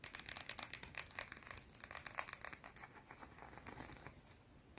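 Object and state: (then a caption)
Bar of soap. A small, solid, round white soap bar is held in the hands and scratched and rubbed with long blue-painted nails. The sound is a quick run of crisp, bright scratching clicks with almost no low end. It starts dense and sharp, then thins into softer, scattered scrapes toward the end.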